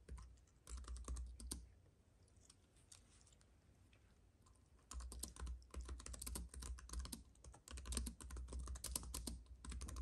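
Both hands type with the fingertips on a slim white keyboard with plastic keys on a silver aluminum base, with a paintbrush lying still in front of it. Quick, crisp clicking bursts come over a low thumping undertone, then fade into a quiet stretch. Steady rapid typing resumes and continues to the end.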